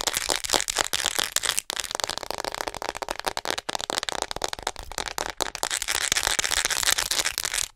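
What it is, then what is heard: Plastic acupuncture model doll tapped and scratched. Long acrylic nails tap and scratch rapidly across the chest and shoulders of a hollow white plastic acupuncture model doll. A dense stream of sharp, dry clicks and bright scratching fills the clip, each tap dying away almost instantly with little low end.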